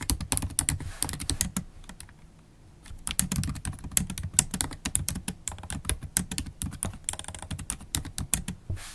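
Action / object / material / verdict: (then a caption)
tap / laptop keyboard with plastic keys tapped by long acrylic nails / plastic / none. Long acrylic nails type on the black plastic keys of a MacBook Pro laptop keyboard, making rapid clicky taps with bright, sharp nail clicks over a low thud from each keypress. The typing pauses briefly around the two-second mark, then resumes in steady bursts.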